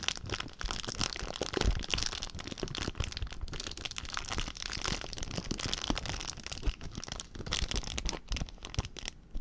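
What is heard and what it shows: An empty clear plastic zip-lock bag is crinkled and rubbed between fingertips, making a steady stream of dense, crackling crinkles. The sound is bright, with quick sharp snaps over a low rumble of handling, and continues throughout without pause.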